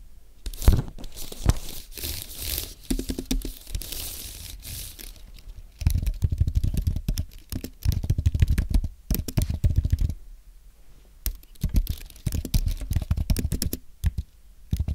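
A white Apple Magic Keyboard with an aluminum base and plastic keys, thin and solid, is typed on with the fingertips of both hands. Rapid, dense bursts of short, dull key taps and clicks come in quick runs with brief pauses, mostly low and thumpy, with a few brighter ticks.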